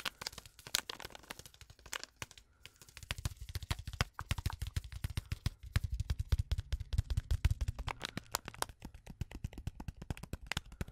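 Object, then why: Foil-lined paper tea sachet. A small, flat, sealed Twinings tea packet of foil-lined paper, full with a tea bag, is tapped, scratched and crinkled with long acrylic nails. Rapid, sharp clicking taps with bright crinkle mix with a soft, low thump under many of the hits, and the tapping grows denser and heavier after the first few seconds.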